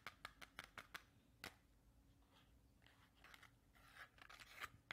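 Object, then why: Cardboard matchbox. A small, hollow yellow cardboard matchbox with a striker strip, held close to the camera, is quickly tapped and scratched with long red-painted nails. Bright, dry clicks with almost no ring come in a fast run, followed by softer raspy scratching and a few more sharp taps.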